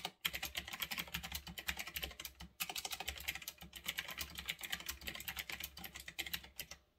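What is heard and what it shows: Fingertips type steadily on a retro typewriter-style mechanical keyboard with round backlit plastic keycaps resting on a desk. A rapid run of crisp, bright clicks, centred around 3.3 kHz, is heard, each dying away almost instantly. The typing pauses briefly near the start and again around the 2.6-second mark.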